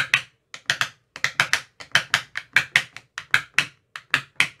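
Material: Plastic.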